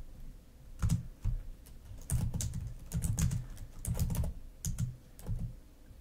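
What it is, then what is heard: Plastic laptop keyboard. Long nails type and tap on a black plastic laptop keyboard, making quick clicky keystrokes in irregular bursts with short pauses between. Each key strike is brief, with a soft low thud under a bright click.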